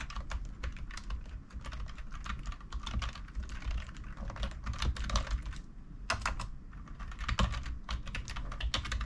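Fingertips of both hands rapidly tap the plastic keycaps of a full-size black plastic computer keyboard resting on a wooden table. A fast, continuous stream of short, dry clicks with bright attacks rides over a low rumbling hum and rises and falls in bursts.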